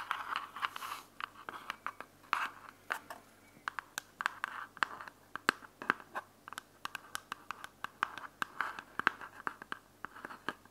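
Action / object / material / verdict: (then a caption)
scrape / plastic earbuds charging case / plastic / none. Long fingernails scratch and tap the edges and top of a small, closed, hollow white plastic earbuds charging case. Dozens of sharp, dry clicks ring out over a soft, rasping scratch centred around 1.5 kHz, with a slight whisper-like quality. Each tap dies away almost instantly.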